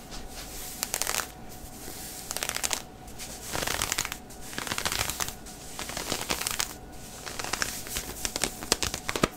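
Fingertips and nails scratch the stretchy synthetic knit fabric of grey heathered knit leggings worn on a bent knee. The result is bright, crisp, papery scratching that comes in repeated bursts separated by brief quieter pauses, over a soft, steady background hiss.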